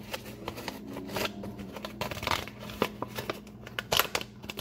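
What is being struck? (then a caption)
Kraft paper bag. Fingertips scratch and tap the sides of a medium brown kraft paper shopping bag with twisted paper handles, hollow and apparently empty, held upright on a countertop. Quick, bright crinkles and dry taps come in irregular bursts over a faint steady low hum, each sound stopping almost at once.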